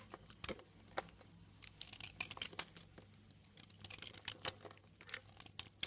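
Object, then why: Soap bar cut by a utility knife blade. A utility knife cuts shavings off a light green soap bar, producing a quiet series of crisp, dry scraping and crinkling bursts. The bursts are mostly bright and high-pitched and stop short with almost no ring, over a faint low steady hum.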